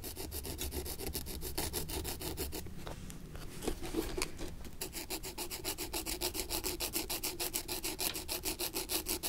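A thin wooden stick scrapes dirt along the welt and heel of an antique leather brogan lying on its side with the sole facing up. Quick, rhythmic, bright rasping strokes repeat steadily, pause for about two seconds of sparse clicks and light scratches, then resume at the same brisk pace.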